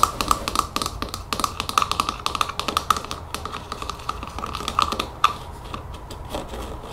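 Long fingernails tap rapidly on the white plastic trigger head of a spray bottle. The result is a fast, uneven run of sharp, bright plastic clicks with a ringing tone around 1.2 kHz. The tapping softens after the last loud click near the end.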